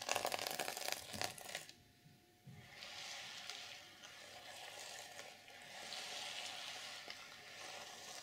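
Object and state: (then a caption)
Sequin-covered notebook being scratched. A small flat notebook with a reversible sequin fabric cover of black and silver plastic sequins over a solid book is scratched and flipped with long purple nails. A burst of crisp, bright clicking rattles in the first moments, a brief quiet follows, and then a steady, hissy scratching with bright rustling continues to the end.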